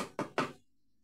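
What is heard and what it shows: A plastic part taken from a dismantled washing machine is knocked at a junkshop, giving a quick series of dry, crisp, clinking knocks that die away fast. That clinking sound marks it as the brittle kind of plastic.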